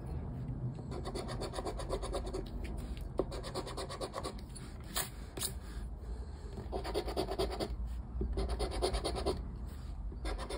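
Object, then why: Paper lottery scratchcard scraped with a plastic scraper. A round black plastic scraper scrapes the scratch-off coating on a flat paper lottery scratchcard lying on a wooden table, while the fingertips of the other hand hold the card. Quick, steady rasping strokes run together into a continuous dry scratching over a low background rumble, growing busier and a little louder in bursts toward the end.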